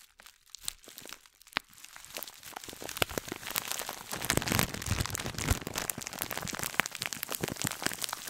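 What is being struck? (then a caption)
Scouring sponge wrapped in thin plastic bag. A gold scouring sponge in a clear plastic bag is held close to the mic while long nails scratch and squeeze the plastic wrapping. Sparse crinkles and sharp clicks open the clip, then build into dense, continuous crackling and crunching with a bright, high edge. The crinkling stays steady and busy to the end.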